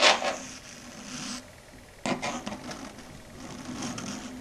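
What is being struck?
Chalkboard tapped with long acrylic nails.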